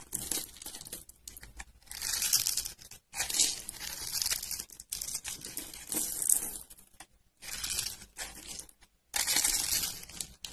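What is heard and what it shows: A metal blade cuts and scrapes small cubes off a solid pale yellow, grid-scored bar of dry soap held in the hand. The bursts of bright, crisp crunching and crumbling come in uneven runs separated by short pauses.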